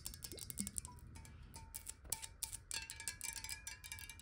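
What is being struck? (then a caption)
Glass water bottle. A clear, hollow square glass water bottle, partly filled with water, is tilted and tapped quickly with long nails. The taps make rapid, bright, clicky ticks with faint glassy ringing tones lingering beneath them.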